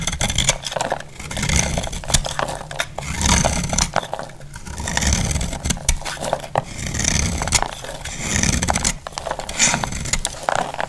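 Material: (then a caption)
Soap. A solid, dry purple soap bar held in the palm has its surface scraped and cut into flakes with a utility-knife blade. A steady run of crisp, dry scraping and shaving sounds is broken by sharp clicking cuts, with a bright hiss above a low, muffled rumble. The strokes swell and fade in waves throughout.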